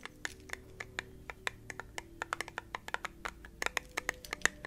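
Fingernails tap and scratch the sides and lid of a small, round, clear glass candle jar held up close. A quick, uneven series of sharp, bright clicks, each ringing briefly near 1.8 kHz, sits over a faint low hum.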